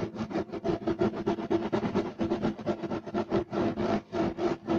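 Fingertips and nails of both hands scratch quickly and hard across a flat, solid beige striped woven fiber carpet. The result is a rapid, continuous run of dry, brushy scratching strokes with a bright, hissy edge and a low-mid tonal hum. Each stroke dies away almost instantly.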